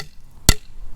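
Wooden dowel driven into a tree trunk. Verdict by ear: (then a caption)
Solid. A hammer strikes a 1/2-inch birch dowel into a 7/16-inch tap hole in a maple trunk, the tight interference fit left after the tap is pulled. A single short, dull thud with a deep low thump and a brief bright crack dies away almost at once against quiet outdoor background. The solid sound shows the plug is driven home and seated.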